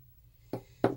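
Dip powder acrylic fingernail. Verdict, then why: Dry. A dip powder acrylic nail is tapped twice with another nail, giving two short, dry, hollow clicks. The hollow sound shows the sealer coat has dried, so the top coat can go on.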